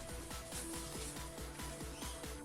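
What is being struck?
Nothing is struck.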